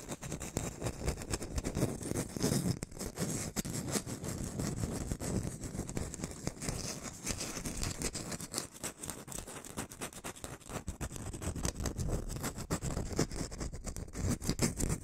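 A whole, solid round orange is held close in front of the mic while long painted nails scratch and tap rapidly on its peel. The result is a dense, continuous stream of fast, crackly scratches and soft taps with a heavy low thump and faint bright hiss, lasting about fifteen seconds.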